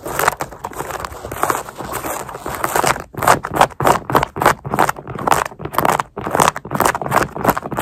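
Long nails scratch the laces and black mesh upper of a sneaker worn on a foot, near the eyelets. A steady, crackly scratching in the first few seconds gives way to quick, irregular rasping strokes with short gaps between them. The scratches are dry and papery, centred in the midrange with a bright hiss on top and little low end.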